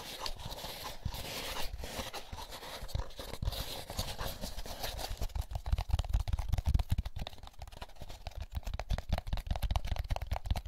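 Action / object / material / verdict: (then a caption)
scrape / molded paper pulp egg carton / paper pulp / none. Fingertips tap and scratch an empty, hollow molded paper pulp egg carton, working over the egg cups and the labelled lid. The sound is a dense run of soft, dry scratches and crackles that shifts into quicker, thumping taps with a low hollow body in the second half.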